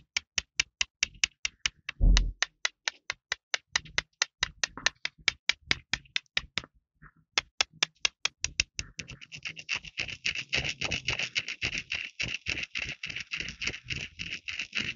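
Two small, solid, pale beige stones are held between the fingertips and clicked together repeatedly in front of the chest. Sharp, bright clicks come in a steady run, with a short pause around the middle. Toward the end they speed up into a dense, rapid clatter.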